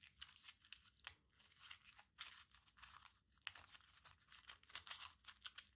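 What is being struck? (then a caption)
Crumpled aluminium foil ball. A small crumpled aluminium foil ball is rolled and squeezed between the fingertips of both hands. The result is a quiet run of bright, dry crinkling and crackling bursts, mostly high in pitch, with almost no low end and no ring after each crackle.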